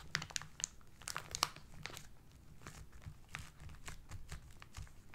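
Fingertips and short nails of both hands rub and crumple the brown kraft paper wrapping on a rectangular parcel. Sharp, bright crinkles and crackles stand out in the first second and a half. They then give way to a quieter, steady papery rustling.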